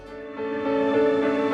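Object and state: Nothing is struck.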